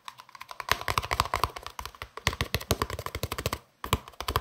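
A long, hollow green plastic case, held upright, is tapped quickly with fingertips and nails, producing a rapid run of dry clicks that sounds like typing on a keyboard. The taps carry a faint hollow ring near 1 kHz and stop briefly before a final flurry.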